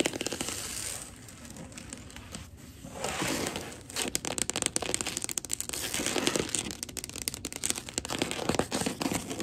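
Long gold acrylic nails tap and scurry across a wood-look laminate floor toward the camera. Dense, bright scratching and rapid clicking ticks swell and fade, growing louder and sharper in the second half.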